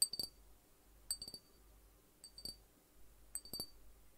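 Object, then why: Small glass bottle with cap. Fingertips tap near the neck and cap of a small hollow glass juice bottle with an orange and yellow label, held in one hand and apparently containing liquid. Four quick clusters of light taps each give a bright, high glassy ping that fades almost at once over a quiet background.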